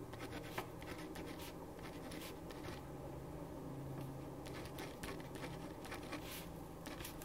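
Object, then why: Pen on a paper sheet. A ballpoint pen writes across a thin printed paper sheet lying flat on a wooden desk, making soft, continuous scratching strokes with bright, brief rasps. A steady low hum runs underneath the quiet writing throughout.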